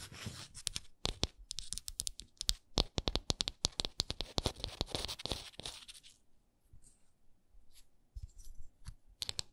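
Long nails scratch and tap a textured wooden ornament, making rapid, crisp, bright taps and scratchy strokes with soft low thumps underneath. After about six seconds the sound drops to quieter, sparser scratches, then a short burst of taps returns at the end.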